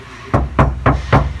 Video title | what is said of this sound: Автомобильная дверная шумоизоляция в три слоя на Toyota RAV4. В салоне тише, автозвук насыщеннее | Слышите, как гремит металл.